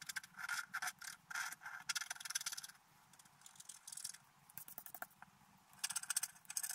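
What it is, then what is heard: Scratch art paper being scratched. A wooden stylus scratches along the edges and border of a black-coated scratch art paper card while the other hand holds the sheet. Bright, dry scratching comes in short bursts and quick strokes separated by brief quiet gaps, with almost no low end.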